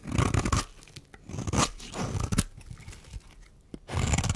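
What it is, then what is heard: Dry bar soap being shaved. A metal blade shaves curls off a solid, dry pink rectangular bar of soap held in the hand. Dry, crunchy scraping strokes come in bursts, heaviest in the low end with a thin bright rasp, separated by quieter gaps.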